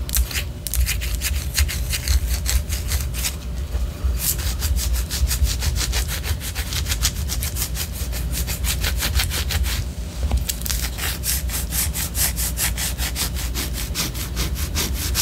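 Long orange nails scratch the side of a white solid wax pillar candle in quick, repeated strokes. Each stroke makes a bright, dry rasping scrape, running over a steady low hum that sits under the whole clip. The scratching briefly thins out twice before continuing to the end.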